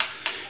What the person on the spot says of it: you want to hear that marble rattle when you hear the marble rattle you know that you started to agitate the product that's in the can